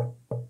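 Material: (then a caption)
Plastic. A 20 cm 3D-printed plastic Yoda figure, printed with 0% infill, is tapped close to the microphone. The taps give short, hollow, woody knocks with a low tone around 120 Hz and a resonance near 500 Hz that fades quickly. The figure sounds very hollow, a bit like wood, because of the zero infill setting.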